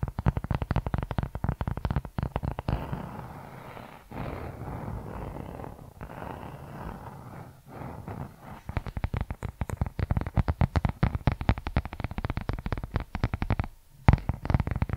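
Fingertips and nails tap and scratch the leather cover of a brown leather journal held close to the microphone. Quick, dull, low-heavy taps come first, then a steady stretch of softer scratching, then rapid tapping resumes with a brief pause just before the end.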